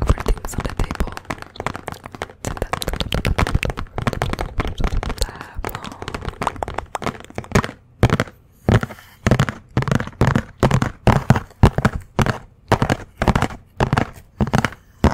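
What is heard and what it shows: Long nails tap and scratch the surface of a white paper envelope or folded paper held upright in front of the microphone. For about eight seconds there is a fast, dense run of crisp, dry taps, then the tapping breaks into short separate bursts with brief silences between them. The sound is heavy in the low end with very little high-frequency hiss.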